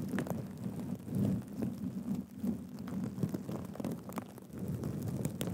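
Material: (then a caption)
Plastic sequins. Fingertips scratch and flip the sequins on a black and gold sequin cushion held upright. The result is a soft, continuous scratchy rustle, weighted low, with brief bright clicks scattered throughout as the sequins flip.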